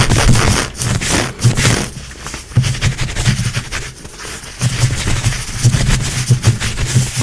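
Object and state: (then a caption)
Nylon-spandex leggings fabric. Long acrylic nails quickly scratch and rub dark grey-brown stretchy nylon-spandex leggings worn on a leg, the soft, solid fabric over the limb. The result is fast, rough scraping bursts with bright, crackly texture over a heavy low thump-like rumble. It rises and falls in clustered strokes with brief quieter gaps.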